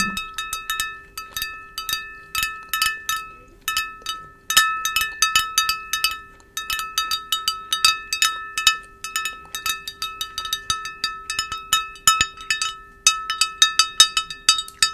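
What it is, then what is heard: Glass vase tapped with fingernails. A tall, hollow, empty, conical clear glass vase is held in the hand close to a microphone and tapped rapidly with long pointed acrylic nails. The taps land in quick, uneven bursts of bright, glassy clinks with short high ringing tones, over a faint steady low hum.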